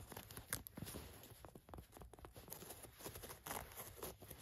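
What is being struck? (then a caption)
Cotton canvas work pants. Long nails scratch across a pair of khaki cotton canvas work pants lying flat, working over the waistband, the button area and the orange elastic waistband lining. The result is quiet, dry, rasping scratches in quick, uneven bursts, with a soft low rumble underneath and a papery, bright edge on the sharper strokes.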